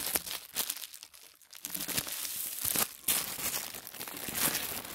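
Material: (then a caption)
Paper. Fingertips press, fold and crinkle a thin sheet of white tissue paper, folded on a wooden table. A dense, bright, dry crinkling fills most of the clip, with a quieter lull around the one-second mark before the rustling swells again. Short crisp snaps rise above the steady papery hiss.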